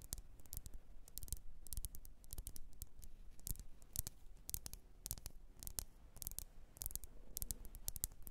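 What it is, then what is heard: Glass candle jar. Long nails tap the rim and sides of a lit, wax-filled red glass candle jar. The taps come as a rapid, irregular stream of short, bright clicks and ticks with almost no ring, over a faint low hum.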